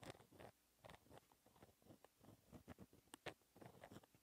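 A pen tip scratches across a flat, thin sheet of black paper in small handwriting strokes and brackets. The result is quiet, dry, scratchy bursts with short bright flicks and brief pauses between strokes.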